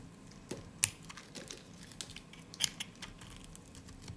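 A utility blade carves and shaves a solid, dry peach soap bar, and thin crunchy slices come off. The result is quiet, irregular, dry crackling scrapes and crisp snaps that are mostly bright and high, with little low end and no ring.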